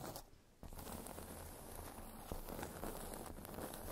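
Long nails tap and scratch across the surface of a solid, round, flat cork trivet or coaster resting on fluffy fabric. The result is a quiet, steady, low, dull scratching texture with soft taps, following a brief near-silent pause at the start.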